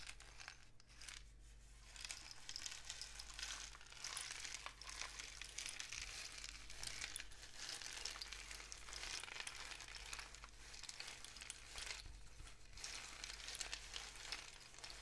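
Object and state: Cardboard rain stick.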